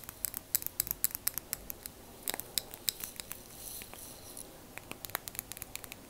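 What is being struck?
Small plastic liquid motion timer.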